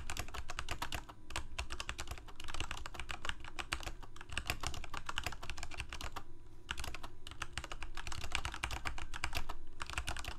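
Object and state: Plastic mechanical keyboard.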